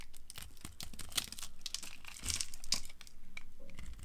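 A utility cutter blade scrapes cubes and long slivers off a solid bar of dry orange soap held in the hand, dropping them onto a pile. The sound is a steady run of crisp, crackling scrapes with bright, crumbly bursts as pieces break away, over a soft low rumble.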